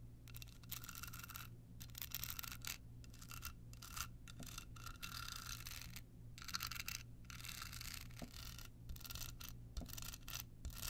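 Long pointed nails scratch a small, hollow, rhinestone-covered card holder with a red bow. The result is a dense, bright, gritty scratching in bursts, broken by brief pauses, over a steady low hum.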